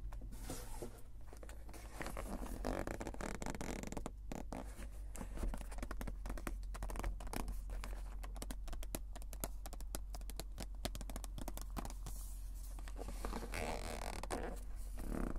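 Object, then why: Small printed cardboard box. Fingertips and nails tap and scratch the lid and sides of a small, flat, white printed cardboard box, closed and hollow power bank packaging lying on a table. The result is a dense, continuous stream of quick dry taps, scrapes and scratchy rustles over a steady low hum.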